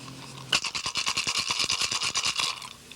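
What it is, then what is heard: Turtle shell rattle with the right amount of pebbles. A turtle shell rattle filled with small pebbles, with more pebbles just added, is shaken again in a quick run of dry, bright, gritty rattling bursts lasting about two seconds. The pebbles clatter sharply inside the shell, and the rattle now has the right sound.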